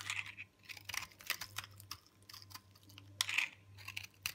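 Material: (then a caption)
Soap. A large, solid chunk of hard, dry, multicolored pink recycled soap is held in the hand and scraped and carved with a metal box-cutter blade. Bright, dry crunching and scratchy scraping strokes come in quick bursts with brief pauses, over a faint low hum.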